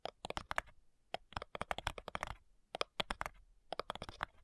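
Long nails tap and scratch the front side edge of a flat, light, hollow wooden cigar box. Quick, dry, clicky taps land in uneven bursts, about 23 in all, with bright edges and almost no ring after each one. Short pauses separate the clusters.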